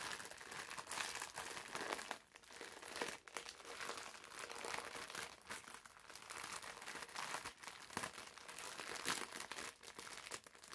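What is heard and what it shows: Fingertips squeeze, press and crinkle the thin clear plastic wrap sealed around a hand-sized green bath sponge. The result is a quiet, steady, bright crinkling and crackling that runs for about eleven seconds, with almost no low end and only brief dips between presses.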